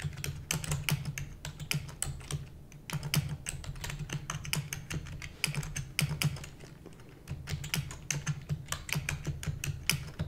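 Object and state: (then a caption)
Plastic computer keyboard. A full-size black plastic computer keyboard with hollow keys is typed rapidly with the long nails and fingertips of both hands. Dense bursts of sharp, bright clicks and clacks run over a steady low hum, with brief lulls near 2.5 and 7 seconds.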